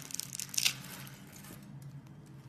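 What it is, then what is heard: Bar soap being cut. A metal utility knife blade scrapes and cuts the scored face of a hand-sized solid teal-green bar of soap, held in a hand with red nails, into small soap cubes. Crisp, bright crackling and crunching clicks build to a louder cut just past half a second, then trail off into faint, quiet scratching.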